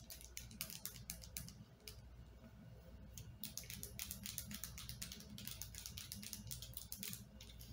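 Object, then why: Plastic lotion bottle. Long painted nails tap and scratch the surface of a white plastic lotion bottle with a blue cap, partly filled with lotion and held in one hand over a leg on a bed. Quick, irregular, bright clicks and scratchy taps come in loose bursts with short pauses, over a steady low hum. The taps are quiet and dry, dying away almost at once.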